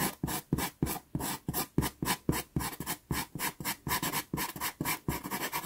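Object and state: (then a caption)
Pastel pencil hatching on pastel paper. A natural-wood pastel pencil makes quick hatching strokes on a small taped sienna Pastelmat card. About 23 short, dry scratching bursts come at an uneven, brisk pace, each a broadband rasp with a bright hiss and a soft low thump that stops quickly.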